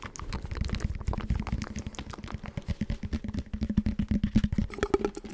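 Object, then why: Foam roller with hard core. Fingertips rapidly tap and scratch the outer foam knobs of a hollow blue foam roller with a visible tan hard core, held with its open end toward the mic. The result is a dense run of soft, dull, short taps mixed with scratching, with a faint hollow hum near 215 Hz and almost no bright sound.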